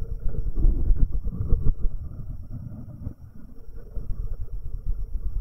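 Fingertips in rubber finger cots rub and tap the right capsule of a metal binaural microphone, making a dense, low, muffled thumping and scuffing. The scraping and knocks come in quick, irregular bursts, with a quieter patch around three seconds before picking up again.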